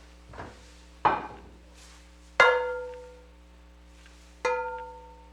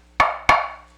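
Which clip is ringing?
The first.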